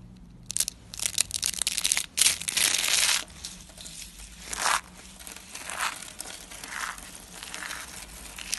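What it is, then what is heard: Dry soap shavings being crushed. Dry white soap, shaved into a rolled rose of thin layers with loose white flakes, is crushed and crumbled between fingertips and palms. Bright, crackly crunching and crumbling comes in irregular bursts, loudest in the first three seconds and then settling into softer crinkling.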